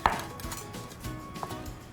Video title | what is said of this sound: Oatmeal-Raisin Bars- Sweet Talk with Lindsay Strand | You can hear how crispy those edges are.